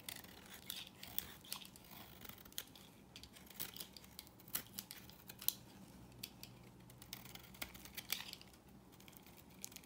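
A knife blade carves a solid, dry, pale yellow rectangular bar of soap, shaving off crisp flaking curls. Quiet, bright scraping and crackling run throughout, with sharp, dry clicks that stop almost instantly, over a faint low hum.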